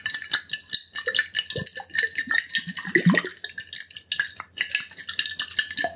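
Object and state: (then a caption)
Glass liquor bottle. A medium glass liquor bottle with a yellow label and a metal screw cap, partly filled with liquid, is held in both hands, tilted, and tapped and rubbed with the fingertips. Quick, light taps give bright glassy clicks over a steady ringing tone in the upper midrange. Soft scraping rubs and a low slosh of the liquid inside rise around the middle of the clip.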